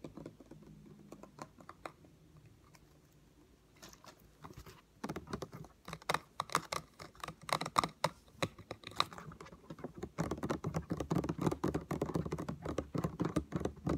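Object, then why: Plastic spray bottle. A yellow Lysol all-purpose cleaner spray bottle, hollow plastic with its contents not visible, is held in one hand and tapped with the fingertips and nails of the other. Soft, sparse, dull taps give way after about five seconds to quicker, irregular bursts of tapping. The tapping turns densest and loudest in the last few seconds, each tap short and dry with almost no ring.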